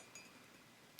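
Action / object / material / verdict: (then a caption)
tap / ceramic mug / ceramic / none. A ceramic mug with a copper handle is tapped with fake nails, producing two soft, high, glassy clinks about 0.8 seconds apart. Each clink is bright and dies away almost at once over a quiet background.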